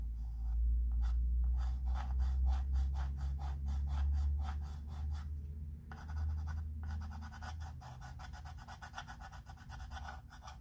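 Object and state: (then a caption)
Chalk pencil scratching on a wood-framed chalkboard. A wooden-barrel chalk pencil scratches fine lines along the letters on the surface of a flat wood-framed chalkboard. Short, bright scratchy strokes repeat in a loose rhythm of about two per second, with brief pauses, over a steady low hum.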